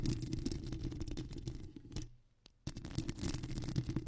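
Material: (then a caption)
Foam. Long square acrylic nails scratch and tap across the surface of a black foam windscreen on a microphone. The result is a dense, low, muffled rustling and scratching with soft, irregular taps. The sound drops to near silence for about half a second midway, apart from one faint tap, then resumes just as busily.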